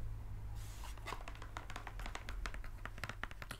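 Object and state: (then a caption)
Cardboard box, nail tapping and scratching. Long acrylic nails scratch and tap across the surface of a small, hollow brown cardboard mailer box held in the hands. A brief bright scratch is followed by a quick run of crisp, dry clicks that die away almost instantly, over a steady low hum.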